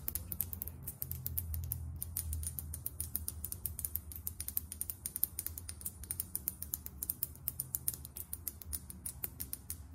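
Long acrylic nails tap fast on the label and plastic cap of a small, filled foundation bottle. The result is a rapid, uneven stream of short, bright clicks over a soft low rumble.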